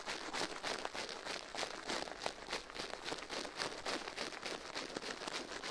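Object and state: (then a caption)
Silicone ear brushed with bristles. A gloved hand brushes and scratches the bristles of a toothbrush inside the left ear of a life-size soft silicone ear mounted on a metal binaural microphone plate, while the other gloved hand rests still on the plate. Fast, somewhat irregular scratchy strokes come in a steady stream of bright, hissy bursts with very little low end.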